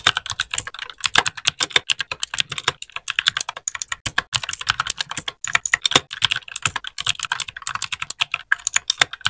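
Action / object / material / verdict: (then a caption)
tap / mechanical keyboard with plastic keycaps / plastic / none. A small white 60% mechanical keyboard with plastic keycaps is typed on with the fingertips of both hands in a steady run of keypresses. Each press gives a short, sharp, bright click with almost no ring and very little low end, and the stream of clicks continues throughout.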